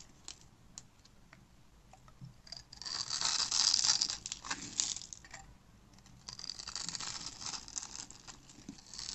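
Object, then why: Bar of soap. A black utility-knife blade cuts a grid into the surface of a solid, hand-sized pink bar of dry soap held in the hand, then scrapes off small cubes. Quiet, bright clicking scratches build into a loud, crisp tearing and crumbling scrape. The sound fades briefly, then returns as steadier scraping.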